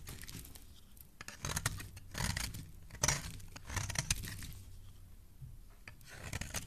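A metal blade carves curls from a solid pink bar of soap held in the hand. Repeated crisp scraping strokes come in bursts, each with a bright rasp over a low rumble. Quieter gaps fall between the cuts.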